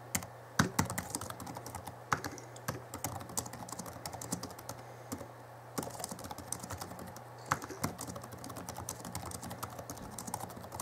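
Fingertips of both hands type quickly on the backlit plastic chiclet keyboard of an Alienware M11x laptop (2011), producing a rapid stream of light clicky key taps with a few louder strikes. A steady low hum sits beneath the tapping, and brief pauses occur between bursts.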